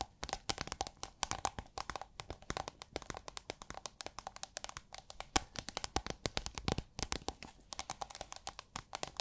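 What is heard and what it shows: Long nails tap and scratch on a roll of iridescent holographic plastic sheet, rolled into a hollow tube and held upright. Rapid, crisp clicking taps come in dense, uneven runs, mixed with crinkly scratching. Each tap stops dead with no ring.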